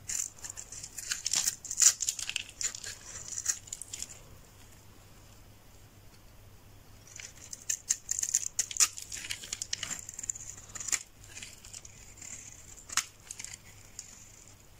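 A metal knife scrapes across the face of a solid yellow bar of dry soap held in the palm, peeling off fine curly shavings. Dense, bright scraping and crackling bursts come in two active stretches, separated by a near-silent pause of a few seconds in the middle.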